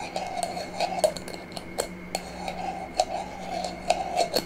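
A small, empty, clear glass jar with a metal screw lid is held sideways in both hands while long nails tap and scratch its glass body and metal lid. About fifteen quick, dry clicks with a ringing tone near 700 Hz sit over soft scratching and faint steady tones, one low and one high. Each tap dies away almost at once.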